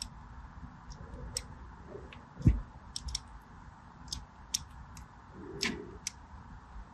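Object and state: Bar soap being scored with a blade.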